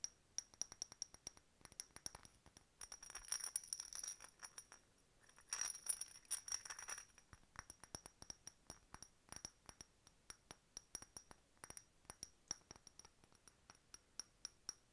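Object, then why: Faceted glass bottle with glass stopper. Long nails tap a hollow, empty, faceted clear glass decorative bottle with a glass bird stopper, ribbon, bead chain and key charm. Quick, bright, high clicks and clinks follow one another steadily, each dying away almost at once. Two denser bursts of rapid rattling taps come at about 3–4 seconds and 5.5–7 seconds.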